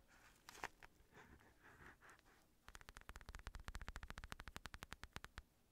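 Fingertips and nails scratch and tap the padded surface of an empty black Everlast synthetic leather boxing glove. Soft, muffled rubbing strokes swell and fade for the first few seconds. Then a quick run of dry, short taps with a dull low thud and a bright click continues to the end.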